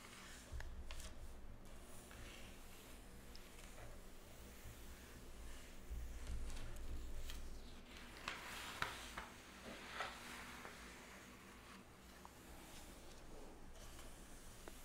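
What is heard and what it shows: Long red natural nails scratch and tap the printed pages of an open glossy paper magazine lying on a wooden table, then flip a page. Quiet, dry scratching and a few sharp, bright taps sit over a steady low hum, followed by a soft papery rustle.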